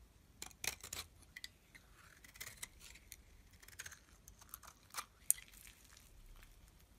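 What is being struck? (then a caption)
Bar of soap shaved with a metal blade. A solid yellow-tan soap bar held in the hand is scraped with a metal utility blade into thin curls. The clip is quiet, with short, crisp, bright scraping strokes and faint crinkly shaving sounds, plus one sharper click near the end.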